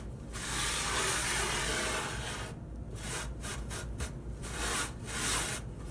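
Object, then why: Empty wooden drawer. A hand rubs and wipes the wooden floor and sides of an empty wooden dresser drawer, a hollow box with a small pile of sequins in one corner, using a folded cloth. A long, bright, hissy rubbing sweep is followed by a series of shorter, uneven wiping strokes, with a faint low hum underneath.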